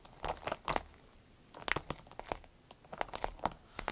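Fingernails tap and scratch the top of a small striped glossy vinyl zippered pouch, with some crinkling squeezes mixed in. Bursts of sharp, bright taps and crinkly scrapes come in clusters over a quiet background, each dying away almost instantly.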